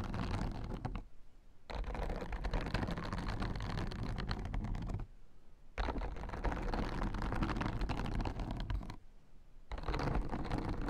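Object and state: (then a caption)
Plastic acupressure mat. Fingertips and nails tap and scratch across the white plastic spikes of a blue plastic acupressure mat. The sound is a dense, crackly rustle of rapid clicks, heavy in the low end, in three long bursts separated by brief quiet pauses.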